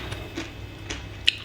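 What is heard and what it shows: Fried plaice, freshly fried and crispy, gives a few short, dry, bright crackles over a faint low hum. The final crackle is the sharpest and loudest, and it shows how crispy the fish is.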